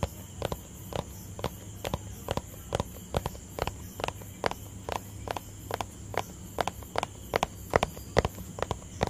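Fingertips tap a small hollow white plastic tub held close to the mic, making a quick, somewhat uneven run of about 140 taps per minute. Each tap is a short, dry, hollow knock centred around 480 Hz that dies away almost instantly, over a steady low hiss and a faint high whine.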